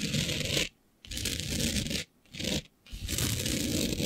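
Long beige nails on both hands scratch and rub a flat black sheet with a fine green glitter coating. The result is a dense, bright, gritty scraping with a low rumbling undertone, heard in four stretches separated by short silences.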